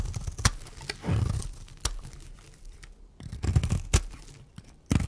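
A metal blade shaves curls off the edge of a solid, dry pink and white striped bar of soap held in the hand. The result is a series of dry scraping and crackling strokes with sharp bright clicks and a low, thudding body, separated by short quiet gaps.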